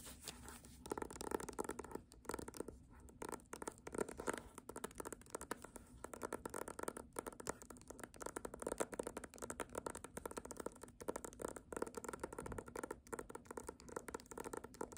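Long nails tap and scratch the front of a small "Doggerel" book with a paper dust jacket, held upright and solid. Quiet, rapid, dry taps blend into a continuous papery scratching with a midrange body and no ringing, steady throughout.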